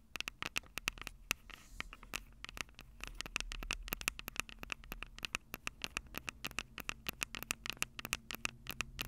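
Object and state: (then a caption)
Metal mesh microphone capsules being tapped. Long purple acrylic nails rapidly tap and scratch the two small crossed metal mesh microphone capsules on the hollow plastic body of a Tascam DR-05 handheld recorder. Dense, sharp, bright clicks with a faint tone near 2.7 kHz ride over soft scratchy rustling and a low rumble. The taps are very short and dry, with no ring.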